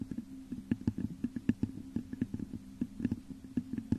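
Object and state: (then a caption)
Glass vase tapped with fingernails. Long nails scratch and tap the top of a hollow, textured clear glass vase turned upside down over a microphone. A quick, uneven run of short, dull taps sits over a low, resonant hum, with faint scratchy texture between them.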